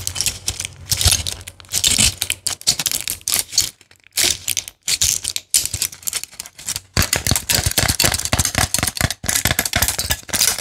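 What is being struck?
Plastic and foil blister pack.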